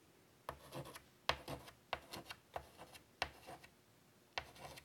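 A hand draws curly lines with a stick of chalk on a large, flat black chalkboard in a light wood frame lying on a table. Six separate bursts of dry, bright scratching and rubbing are heard as the chalk drags across the board surface, each fading into short pauses of quiet.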